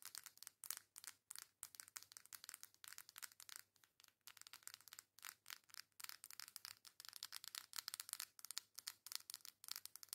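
Long acrylic nails tap and scratch quickly across the back and front of a coral cardboard face palette, a hand-sized flat case. The sound is a quiet, dense run of crisp, dry clicks and scratchy rubs, bright and high with almost no low end and no ring after each hit.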